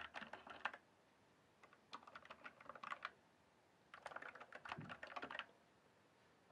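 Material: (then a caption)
Plastic. Fingertips type and tap on the plastic keycaps of a full-size RGB-backlit Cyberpowerpc Skorpion K1 mechanical gaming keyboard lying flat in a dark room. Three bursts of quick, bright, clacky keystrokes are separated by short quiet pauses, each click short and dry with almost no low end.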